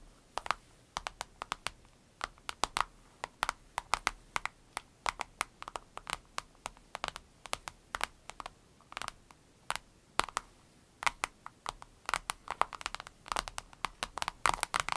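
Long red nails rapidly tap and scratch the top of a small, clear vinyl zip pouch with an avocado print lying flat. It makes a dense, irregular patter of sharp, dry clicks, crisp in the midrange with bright edges and no ring, over a quiet background.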